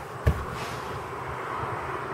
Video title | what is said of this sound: Essai routier (Test drive) Hyundai i30 / Elantra GT 2014 - Part. 1 | C'est plastique, oui, effectivement, ça sonne même creux un petit peu